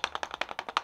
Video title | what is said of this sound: FANTASTIC CREATURES UNBOXING 💼 - LitJoy Crate - Brittany's Magic Trunk | if you shake it you can hear something inside